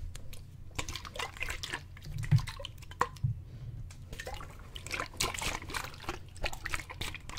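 A clear plastic water bottle, partly full of water, is held in both hands, tipped and shaken above the head so the water sloshes inside. Quick, bright dripping splashes and gurgles repeat over a steady low hum, with a few louder sloshes standing out.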